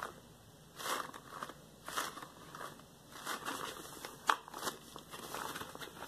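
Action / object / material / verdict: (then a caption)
scrape / latex rubber gloves on hands / rubber / none. Hands wearing yellow latex gloves scrunch into fists and squish, with loose rubber bunched at the fingertips. Quiet, crackly rubber crinkles and soft squeaks come in bursts, with one sharper snap near the end.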